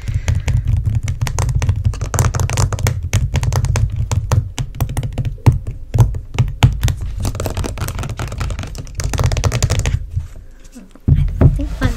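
Long painted nails tap quickly on the black plastic screw lid of a closed, apparently full, medium-size white plastic body-butter jar. Then the jar is held and tapped on its side. The result is a dense run of short, dull, low-pitched plastic taps with a quieter stretch near the end before a final burst of tapping.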